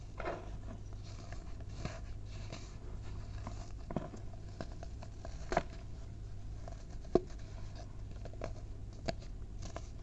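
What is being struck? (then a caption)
Pile of packed baking soda powder. Bare fingers and palms squeeze, crumble and rub clumps from a large mound of packed white baking soda powder in a tray. Soft, quiet crunches and gritty patters come at an irregular pace over a steady low hum, with a few sharper crackles standing out.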